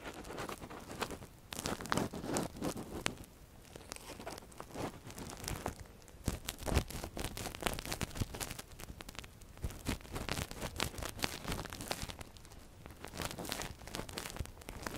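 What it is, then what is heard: Silicone ear model, scraped and tapped. A metal earpick gently scratches and taps inside the canal of a silicone ear model, handled with gloved fingers. The result is dense, close crackling and crinkly scraping with quick soft taps and rustles, swelling and easing in bursts throughout.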